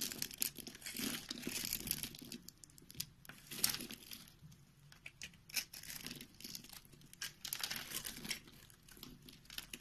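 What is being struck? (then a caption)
Bar of soap. A utility knife blade scrapes and cuts small cubes from the scored face of a solid white rectangular soap bar held in the hand. The sound is a quiet, bright, dry crunching and crinkling scrape broken by many quick crisp snaps as pieces break away.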